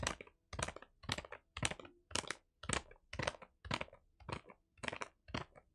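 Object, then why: Kraft paper wrapped parcel. A kraft paper wrapped parcel is held upright while fingertips tap and scratch its paper surface. A steady run of short, crinkling bursts follows, about two per second, each a dry, bright rustle with a soft low thump and almost no ring.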